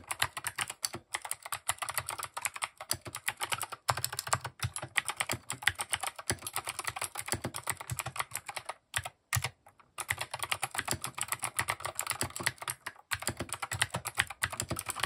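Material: Plastic.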